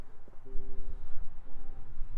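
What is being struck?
Nothing is struck.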